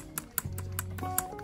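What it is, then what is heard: Plastic spinning reel spool. A plastic spinning reel spool is tapped for comparison with an aluminium spool, giving a series of short, dry clicks with a bright edge that die away almost at once. A steady low hum and faint sustained tones run underneath.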